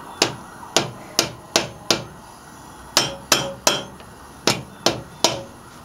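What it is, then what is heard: Cast iron cylinder head struck with a hammer. A hand knocks a dark-headed hammer or mallet against the large, solid cast iron cylinder head of a Model A Ford engine, mounted on the block with its studs sticking up, probably to break the head gasket seal. Eleven sharp, bright metallic knocks come in three uneven bursts of five, three and three. Each knock dies away quickly with only a short ring.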